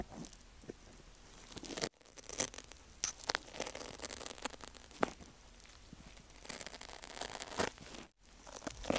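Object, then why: Foam kitchen sponge with scrub backing. Metal tweezers poke and scratch into the cut slit of a pink wavy foam kitchen sponge with a green scrub backing, cut to look like an ear and held by fingertips on a rattan mat. Soft, porous foam gives a steady bright, crunchy scratching and tearing rustle with sharper crackles, broken by two brief silent gaps.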